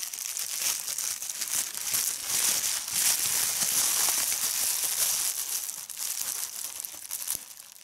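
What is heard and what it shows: A large loose sheet of clear plastic bubble wrap is held in both hands over a checked tablecloth and crumpled and squeezed by fingers with long red-painted nails, popping the bubbles. The result is a steady, bright, high crinkling hiss with scattered sharp pops and crackles, easing slightly toward the end.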